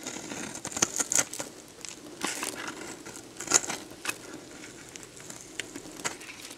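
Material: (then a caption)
Soap. A metal box-cutter blade scrapes and carves a solid, dried red soap bar with a textured surface, held in one hand, into crunchy shavings that fall onto a bed of soap chips. Dry, crisp crackling and crunching scrapes come in quick bursts, bright and hissy with almost no low end. The soap crumbles away in sharp, short crackles that stop without ringing.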